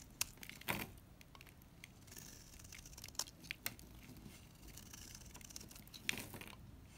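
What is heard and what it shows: A solid lilac NIVEA bar soap held in the hand is scraped with a utility knife, giving quiet, dry, scratchy rasps broken by a few sharp, bright clicks and crackles. The scraping cuts away dry, crumbly shavings.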